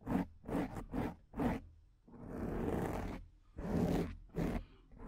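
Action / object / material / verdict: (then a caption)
scrape / foam microphone windscreen / foam / none. Long acrylic nails scratch the top and side of a soft, porous, medium-sized black foam microphone windscreen, using one or both hands. Short, muffled scratching bursts come in an uneven rhythm, broken by a longer, steady rasping scrape in the middle. The sound is low and rustly, with little brightness.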